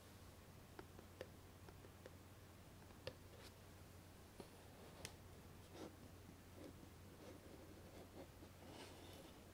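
Long nails tap and scratch the lid and sides of a small, hollow, white lidded cardboard gift box with a ribbon bow. Five sharp, quiet clicks stand out early, followed by softer scratching and rustling. A steady low hum runs underneath.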